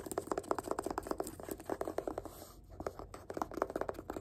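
A fingertip taps and scratches quickly along the spine of a yellow paperback book held in one hand. A fast, steady run of short, dry, quiet taps with a hollow midrange knock, broken by a brief soft scratch midway, with almost no low end and no ring.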